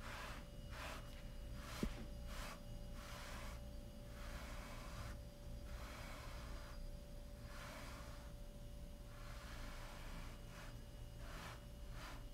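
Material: Nothing is struck.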